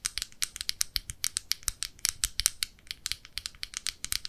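Long nails tap and scratch the clear lid and rim of a small round red plastic blush compact with a metal clasp, a hollow case holding pressed powder, held in both hands. A rapid, uneven run of about 27 crisp, bright clicks and ticks sounds, each dying away almost instantly with very little low end.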